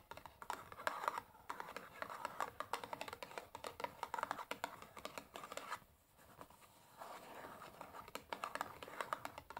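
Long nails tap and scratch the printed top of a large, closed cardboard matchbox full of matches lying on a table. Quick, dry clicking taps mix with a papery midrange scratching, pausing briefly around the six-second mark before the scratching and tapping resume.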